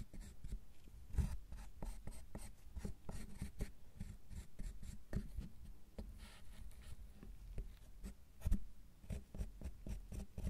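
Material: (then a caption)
Chocolate. Metal carving tools with wooden handles scrape and scratch across the top segments of a solid milk chocolate bar resting on a bamboo mat. Many short, dry scratching strokes sound close and low, with a steady faint hum beneath them and a few sharper taps standing out.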